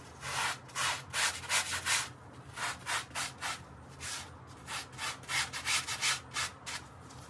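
A gloved hand briskly scrubs a small, dark, soapy, wet fabric mat, heavily dirty and muddy, with a handheld bristle brush. The strokes come as a quick, uneven run of bright, hissy, wet scratching bursts separated by short pauses, with a faint steady low hum underneath.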